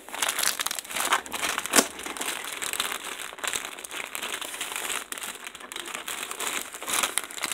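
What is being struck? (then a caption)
Plastic poly mailer bag. Fingertips with painted nails press and handle a large white plastic poly mailer envelope holding a soft, stuffed package as it rests on a table. A steady, bright crinkling runs throughout, with sharper crackles standing out and almost no low end.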